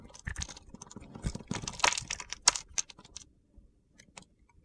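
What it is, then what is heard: Soap bar being scraped and sliced. A box-cutter blade scrapes and slices crunchy chunks off a solid light blue soap bar held in the hand. Dry, gritty scratches and sharp crunchy snaps come in an irregular burst of bright crackles, then thin out to a few faint clicks before fading to quiet.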